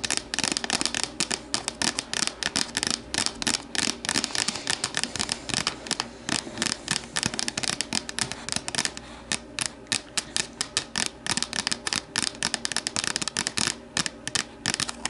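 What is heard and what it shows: Long nails tap and scratch the sides of an empty, hollow, translucent plastic deli container standing upright. The result is a steady, rapid stream of bright, crisp clicks and dry scratches that die away almost instantly, with little low end.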